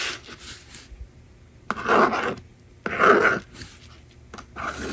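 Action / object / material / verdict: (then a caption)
scrape / plastic magnetic drawing board and plastic stylus / plastic / none. A yellow plastic stylus scratches across the honeycomb screen of a small, hollow blue and pink plastic magnetic drawing board on a table, writing a number. Lighter rubbing strokes surround two louder, longer rasping scrapes in the middle. The scratching is dry and midrange with little low end.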